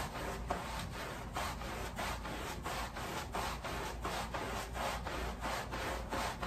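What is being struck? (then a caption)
Woven pile rug scrubbed with a bristle brush. A long-handled wooden-block bristle brush scrubs back and forth across a flat, rectangular woven pile area rug that is soaked and foamy with soap suds and lying on a plastic sheet. Steady, rhythmic wet rasping strokes repeat at a brisk, slightly uneven pace, each a soft swish of bristles through the sudsy pile over a low, constant background.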